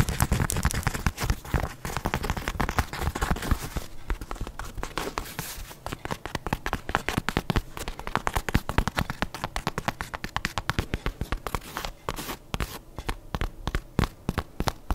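A soft, hollow leopard-print fabric slipper held in one hand is tapped and scratched with long nails and fingertips. The result is a dense run of quick, dry taps and scratchy crackles with a soft low thump. The sounds are fast and overlapping, so they blur into a continuous crackling texture over the full clip.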